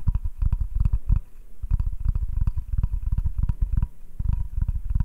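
A medium, solid butcher-block style wooden cutting board is held upright in both hands while fingertips and short nails tap rapidly and scratch its surface. The result is a quick run of dull, low, woody thuds that stop almost instantly, with a faint scratchy texture between taps and a brief quieter stretch partway through.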